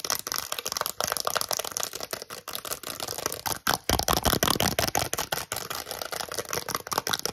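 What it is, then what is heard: Press-on nail set on cardboard card. A small, flat cardboard card holding a set of plastic press-on nails is held close and tapped and scratched with long acrylic nails. Fast, irregular, crisp clicks blend with a dry, bright scratching texture. The sound grows louder and denser around the middle before settling back to steady tapping.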